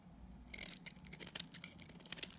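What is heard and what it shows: A metal utility blade cuts flakes off a solid green bar of dried soap. After a quiet start, a series of dry, crisp scraping and crackling cuts rises in the high, bright range, with the sharpest snaps near the end.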